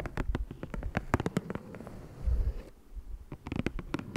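Fingertips and nails tap and scratch across the surface and edges of a flat green cardboard Ticonderoga pencil box resting on a dark fabric surface. Quick, dry taps with a low thud come in clusters, broken up by a soft scratching rub in the middle.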